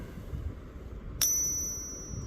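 A 40 percent silver Kennedy half dollar is flicked once, giving a bright, high metallic ping over a low background rumble. The ring decays smoothly and fades out over most of a second.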